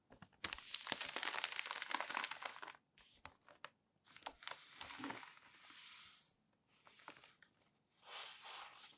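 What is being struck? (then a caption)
Newsprint newspaper. An open newsprint newspaper lies flat on a table as palms rub across the sheet and fingers lift a page corner to turn it, crinkling the paper. A long, bright, hissy rustle of dense crackles is followed by shorter bursts of crinkling and soft sweeps separated by brief quiet gaps, with almost no low end.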